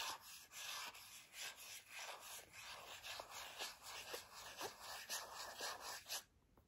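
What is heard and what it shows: Long nails tap and rub a filled white plastic Native deodorant stick container. Bright, scratchy rubbing strokes repeat about twice a second with light tapping between them. The sound stops abruptly near the end, leaving quiet.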